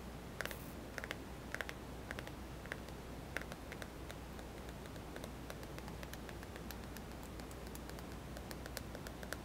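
Fingertips tap the glass screen and buttons of a small white plastic touchscreen smartphone with a hollow body, held in one palm. Quiet, light clicky taps come in irregular, scattered bursts over a steady low hum.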